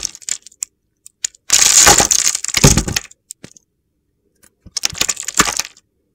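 A metal box-cutter blade slices through a solid, palm-sized pink and pale-blue bar of soap that is pre-scored into small cubes, so the cubes crack and crumble off. A few sharp, crisp clicks open the clip, followed by two longer bursts of dense, gritty crunching and crackling that are bright and high-pitched with little low end.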